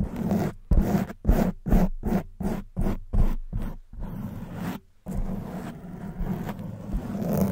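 Long white nails scratch the top and sides of a soft, porous black foam microphone windscreen. A rapid, slightly uneven series of short, muffled, bassy scratching strokes, after a brief pause, gives way to a longer continuous rustling scrape.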